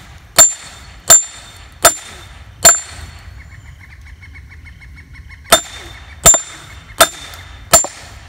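A sledge hammer strikes the steel head of a splitting axe stuck in the top of a large solid wood firewood round resting on a stump outdoors. Eight sharp, bright metal-on-metal clanks sound through the log in two groups of four, with a pause between them. Each clank dies away quickly, and a faint repeating chirp is heard during the pause.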